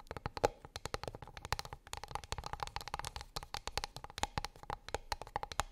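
Long pink acrylic nails tap and scratch a flat, light, solid wooden plate or board lying on a fluffy rug. A quick, steady stream of short, dry, clicky taps with a bright edge and almost no ring, with a faint hollow tone around 480 Hz. Soft scratching fills the gaps, and a few taps land noticeably harder.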